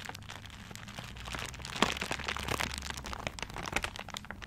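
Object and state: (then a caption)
Paper-wrapped gift. A tiger-print paper-wrapped gift is held in both hands while fingers scratch and rub across the paper surface. Dense, crinkly scratching and rustling fill the clip, bright and crackly, with a sharper crack standing out about two seconds in over a faint low hum.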